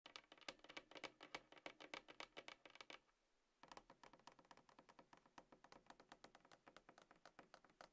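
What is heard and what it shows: Long acrylic nails and fingertips of both hands tap and scratch a closed, hollow dark grey cardboard iPhone box, its lid on, resting on a table. Rapid, uneven clicky taps with a bright, dry papery tone fill the clip, broken by a brief near-silent pause around three seconds before the tapping resumes.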